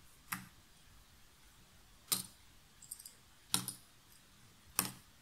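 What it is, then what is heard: Cardboard jigsaw puzzle pieces. A small handful of cardboard jigsaw puzzle pieces is held and rubbed between the fingertips and long nails above the box lid. Four sharp, bright clicks are spread a second or more apart, with a brief cluster of softer ticks between the second and third, all over a quiet background.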